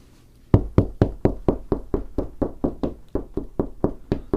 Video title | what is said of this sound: Ken VanSickle Professional Installer: Tips on Locating Studs in the Wall | it sounds like it might be something here